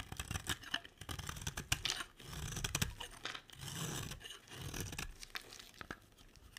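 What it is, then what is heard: Bar soap carved with a knife. A utility knife blade carves and scrapes shavings from a solid orange dry soap bar held in the hand. Quick, crisp cutting clicks mix with longer rasping scrapes as each shaving peels away. The sound is bright and dry with a soft low undertone.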